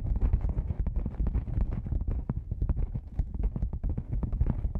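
A black padded nylon lens pouch, a hollow cylinder gripped from the sides, is tapped on its side panels with long nails and fingertips. The result is a quick, steady stream of soft, deep, muffled thumps that die away almost at once, with occasional sharper clicks on top.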